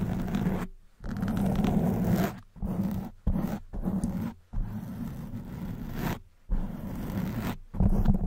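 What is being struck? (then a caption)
Foam microphone windscreen. Long white acrylic nails on both hands scratch a soft, porous black open-cell foam windscreen of medium size fitted over a silver condenser microphone. The result is a dense, muffled, low rumbling scrape centered around 200 Hz, coming in a series of sustained bursts separated by brief silences.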